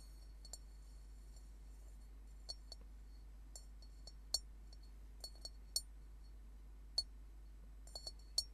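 An upside-down hollow metal Tibetan singing bowl with painted circles on it is tapped and scratched with fingernails. About fourteen short, bright, clinking taps come at irregular intervals over a steady low hum. Each tap dies away almost at once, with a faint high metallic tone.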